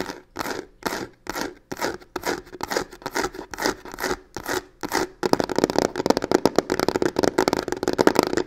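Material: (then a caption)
Faux leather. Long nails scratch and tap the side panel of a hollow box covered in black embossed crocodile-texture faux leather. For about five seconds there are rhythmic, separate scraping strokes with a rough, papery texture. Then the nails switch to a fast, dense flurry of sharp taps and scratches with a hollow midrange tone near 316 Hz.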